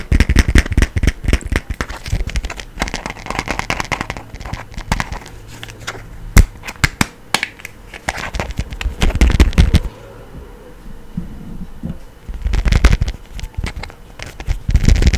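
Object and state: Plastic phone case tapped and scratched.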